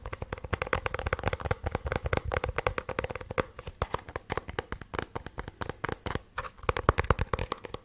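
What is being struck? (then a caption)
Plastic bluetooth speaker casing. A black, cylindrical, hollow plastic portable Bluetooth speaker, held upright and sideways, is rapidly tapped and scratched with fingernails. The result is a dense stream of quick, dry clicks and scratchy rasps over a low hollow thump, with each hit dying away almost at once.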